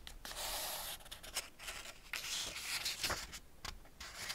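Fingertips rub across the paper pages of a small Ladybird hardback picture book, Man and His Car, lying open, and turn the pages. Soft, dry, bright papery rustles and swishes come in short bursts with quick page flicks, and there is little low end.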